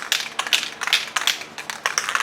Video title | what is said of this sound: Rustoleum Custom 5 in 1 Spray Paint, 5 Selectable Nozzles, Review / Demo | So you want to shake it for at least a minute if the ball's rattling.